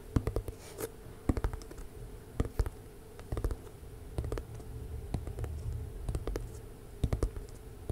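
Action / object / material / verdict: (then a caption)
tap / cardboard box / cardboard / none. Long nails tap and scratch a tall rectangular lilac box, held upright, that looks like hollow cardboard. Quick clusters of sharp, dry clicks stand out over a steady low, rumbly scratching bed. Each tap stops dead with no ring.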